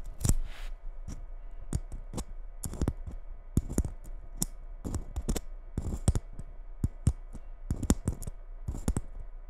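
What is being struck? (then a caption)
Glitter-coated Christmas bauble. Long red nails tap and scratch the rough glitter coating of a small gold Christmas bauble held in both hands. Quick, sharp clicking taps come in irregular bursts over a faint scratchy rustle, each tap ending almost instantly.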